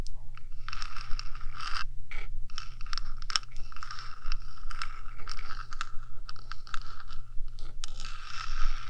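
Long nails scratch the top of a 3Dio microphone's metal housing, first with one hand and then with both. Dense, bright scratching and scraping comes in rapid bursts over a steady low hum, with short pauses between strokes.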